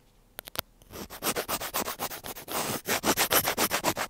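A thin black pointed tool scratches continuously along a small white plastic earphone inline mic housing on a cable. Three sharp clicks open the clip, followed by a steady run of rapid, bright, raspy scratching strokes, about four per second, close and dry with a hissy high end.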